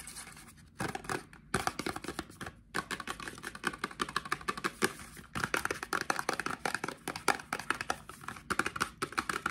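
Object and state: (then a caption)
Cardboard box tapped and scratched. A small, hollow, white printed cardboard box for a Cien Men deodorant is held in both hands and tapped and scratched with fingertips and short nails. Quick, dry, papery taps and scratchy rustles come in dense bursts, with brief pauses in between. Each tap is short and dies away almost at once.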